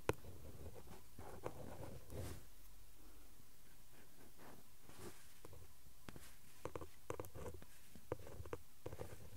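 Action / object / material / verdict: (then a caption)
scrape / cardboard backing card scratched with a pen tip / cardboard / none. A ballpoint pen tip, held in the fingers, traces and scratches across the flat printed cardboard backing card of an Elmer's glue stick pack lying on a cloth. The result is faint, writing-like scratching with soft low rumble and a few sharper ticks scattered through the quiet clip.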